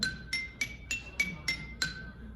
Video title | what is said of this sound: Lithophone w:Mike, Marilyn, & Elliot 2 4 22 | it is the absolute black granite. Very different sound.